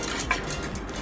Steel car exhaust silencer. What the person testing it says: इसे हिला करके कि किस तरह से इसके अंदर से आवाज़ आपको सुनाई देगी मेटल पीस की